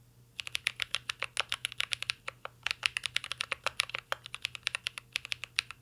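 Fingertips of two hands type steadily on a full-size mint-green Cyberboard R3 mechanical keyboard with a metal case, plastic keycaps and Holy Panda switches, resting on a desk. A quick, uneven run of bright, sharp clacks with almost no ring and little low end follows a brief quiet start.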